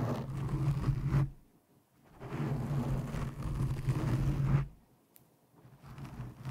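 Long painted nails of both hands scratch a black foam windscreen over a microphone. The sound is a deep, muffled rumbling scrape with a steady low hum, heard as three bursts separated by near-silent pauses.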